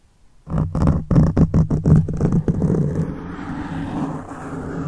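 Fingertips of one hand scratch a black foam windscreen on a silver microphone. A quick run of loud, muffled, bassy scratching bursts gives way to a steadier, softer rubbing rustle that continues to the end.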